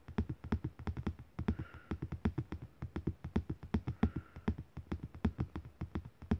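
A thin, glossy printed art postcard lying flat on a fabric surface is tapped and lightly scratched with the fingertips and short nails of one hand. About 47 quick, dull, low-pitched taps sound in a fast, uneven rhythm, with two brief, faint scratching passes between them.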